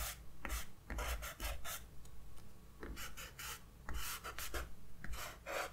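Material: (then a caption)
Paper. A grey kneaded eraser is rubbed back and forth over a pencil sketch on the white paper page of a spiral-bound sketchbook lying on a desk. Soft, rasping scrubbing strokes come in uneven bursts, each with a bright papery hiss over a dull low thud against the desk.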